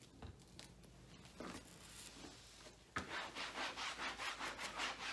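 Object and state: Rubber treadmill belt being wiped.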